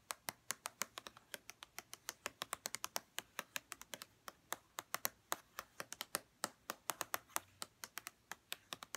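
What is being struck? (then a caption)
Plastic lotion bottle tapped with fingernails. A hollow white plastic lotion bottle, held in hands, is tapped on its edges and bottom with long red-painted nails. About fifty quick, dry, bright clicks come in a steady, fast run. Each tap dies away almost instantly, with very little low end.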